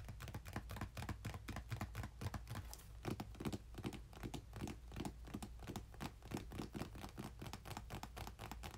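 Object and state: Cardboard box tapped and scratched.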